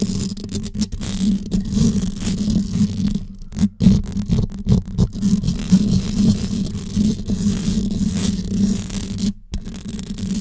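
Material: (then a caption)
Metal mesh. Long yellow acrylic nails tap and scratch the hollow, dome-shaped metal mesh grille of a gold Blue Yeti USB microphone, which is held in both hands. The result is a dense, continuous stream of quick taps and scraping, with a steady low hum centered around 190 Hz and brief dropouts between bursts.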